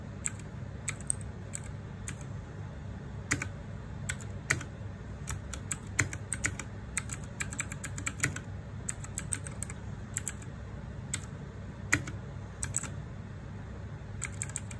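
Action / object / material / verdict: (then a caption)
tap / plastic mechanical keyboard keys / plastic / none. Fingertips and nails type on the plastic keycaps of a small RGB-backlit 60% mechanical keyboard. Irregular, crisp clicks with a bright top end and very short decay sit over a steady low hum.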